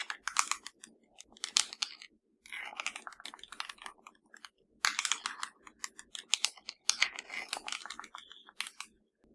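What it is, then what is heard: Plastic TV remote control. Long nails tap and scratch the number buttons of a hollow black plastic LG TV remote. Quick, dry, bright clicks come in dense bursts, mixed with brief scratchy rasps and two short silent pauses. Each tap dies away almost at once with no ring and no low end.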